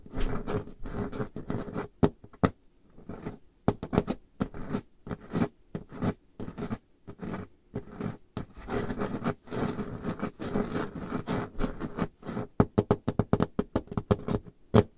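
Nail tips of both hands scratch across a large, solid, dark-stained wooden table top, mixed with some tapping. Bursts of rough, rasping scratches alternate with sharp, dry taps that die away almost instantly, with a dull, low-weighted body and little brightness.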